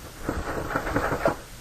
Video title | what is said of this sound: Ep78 - Gamer Day Finds | if I shake it a little bit, it's all steel metal or aluminum metal. The key thing for me, it's not plastic.